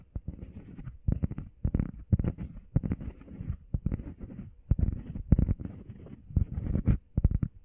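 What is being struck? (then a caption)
EVA foam pad. Long painted nails and fingertips tap and scratch fast on a flat, solid, hand-sized grey textured EVA foam workout pad shaped like a heart. Quick bursts of dull, low, muffled thuds mix with soft scratchy rustling and die out at once with no ring.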